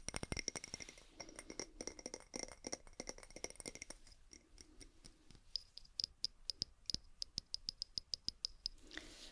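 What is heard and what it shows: A glass jar with a wooden lid is tapped as an ASMR trigger, giving quick, bright clicking taps with a short high glassy ring. The taps come in a dense flurry for the first few seconds, then settle into sparser, evenly spaced ticks before a soft rustle at the end.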